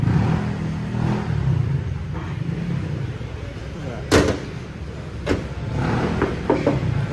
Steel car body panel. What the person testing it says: lata yan, original paint eh